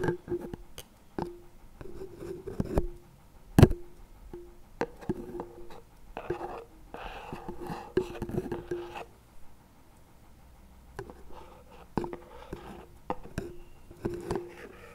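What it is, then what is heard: Plastic spread tub. Wooden chopstick tips tap and scrape the lid of a CremaNovi plastic spread tub lying on its side. The result is a run of sharp, short taps with a hollow plastic ring, broken up by brief rustling scrapes across the lid, most noticeably in the middle of the clip.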